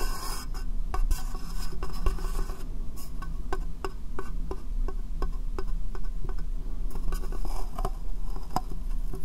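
Fingernails tap and scratch a small, hollow, empty clear plastic box set upside down over the microphone. Quick, dry clicks and a soft rasping scrape sit over a steady, heavy low rumble that fills the sound.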